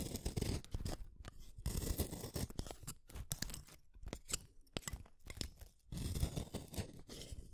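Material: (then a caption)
Wood. A small, solid, dark-tipped wooden colored pencil is shaved with a utility knife blade. Repeated rough scraping strokes make dry, crackling bursts with bright splintery edges over a heavier low rasp, separated by brief pauses.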